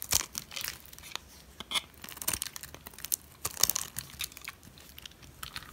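A metal blade scrapes the face of a solid, white, dry oval soap bar. The result is a series of brittle, crackling scrapes and crumbling crunches, mostly high and bright, with little low end and almost no ring.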